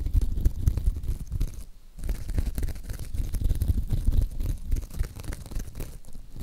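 Long acrylic nails scratch and squeeze a hand-sized pink sparkly mesh scrub sponge that is soft and porous. The result is a dense, irregular run of muffled, crinkly scraping and rustling, heavy in the low end. The sound briefly dips quiet near the two-second mark before the scratching resumes.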